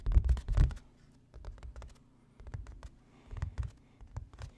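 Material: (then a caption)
Canvas. A medium stretched canvas with an orange-yellow painting, a thin fabric panel over a hollow-backed wooden stretcher frame, is held in one hand and tapped with the fingertips of the other. Quick bursts of soft, dull, low thuds and light scratchy taps come in uneven clusters separated by short quiet pauses, each tap dying away almost instantly.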